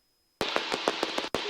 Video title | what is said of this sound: Cessna 172 Skyhawk family flight around Hartsville | I can tap on it you can hear it and it's a kind of short and that's that scratchy sound extremely annoying